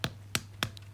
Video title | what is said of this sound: PERFECT CRACKLING ROAST PORK - HOW TO MAKE PORK CRACKLING - PORK ROAST WITH CRACKLING RECIPE | the sound tells you that it's the perfect crackling